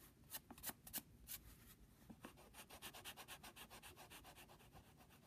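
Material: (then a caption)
Paper. The rubber eraser on the end of a wooden pencil, held by fingertips, rubs back and forth on the printed logo area of a flat brown Jiffy padded paper mailing envelope. A few louder, irregular scratchy strokes give way to a quick, steady rhythm of soft, bright, papery rubbing strokes.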